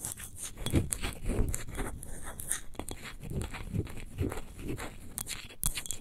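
Long nails rapidly tap and scratch the sides of a large, hollow, clear textured glass wine bottle near its label; the bottle stands upright and appears empty. The result is a dense, continuous run of soft, low hollow knocks mixed with bright, crisp scratchy clicks, each dying away almost at once.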